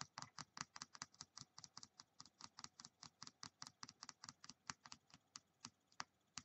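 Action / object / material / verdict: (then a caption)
tap / small plastic die tapped with fingernails / plastic / none. A small, solid white plastic die with colored pips is held in the fingertips and tapped and clicked with long painted nails, while three more dice sit still on a wooden table. About 32 quick, dry, bright clicks follow in a steady, fast patter, each stopping almost at once.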